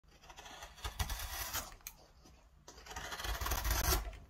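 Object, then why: Oak spoon blank. A hand-held metal carving gouge carves and scrapes the bowl hollow of a flat, solid, light-coloured oak spoon blank resting on a paint-spotted bench, throwing off curled shavings. Dry, rasping scrapes with a low thump and a bright, hissing edge come in two bursts of strokes, separated by a quieter pause in the middle.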